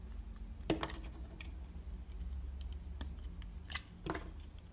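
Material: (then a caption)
Soap. A utility knife blade shaves and scrapes the outer layer off a palm-sized, red translucent solid bar of soap held in one hand, exposing the pink inside. Short, crisp scraping and cutting clicks sound over a steady low hum, with the sharpest strokes near the start and end.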